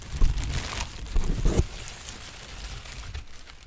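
A large, thin sheet of yellow-green textured tissue paper is held up and crinkled with the fingertips of both hands. Bright, papery crackles come in bursts over a deep, soft rumble, strongest in the first second and a half. The sound then settles into quieter, continuous rustling.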